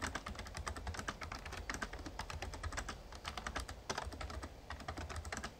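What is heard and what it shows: Fingertips type steadily on a full-size, backlit plastic Razer Ornata Chroma mecha-membrane gaming keyboard. A fast, continuous run of short, crisp key taps sounds bright on top with a soft low thump beneath. Each keystroke dies away almost instantly.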